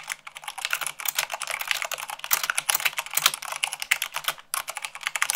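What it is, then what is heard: Plastic mechanical keyboard. Fast typing with fingertips and long nails on white plastic keycaps of a black plastic mechanical keyboard. A dense, continuous stream of bright, sharp clicks and clacks follows, each dying away almost at once, with a brief pause near the end before the typing resumes.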